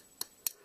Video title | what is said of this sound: WWE Elite Series 29 Erick Rowan Review | you can hear that sound that's audiable that it's Hollow